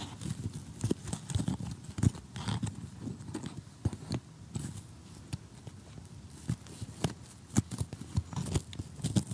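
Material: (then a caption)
Cardboard. Short nails rapidly tap an assembled cardboard jigsaw puzzle lying flat, while tweezers pick out pieces. The result is a quick run of dull, low, clicking taps with very short decay and occasional brighter, crisp ticks.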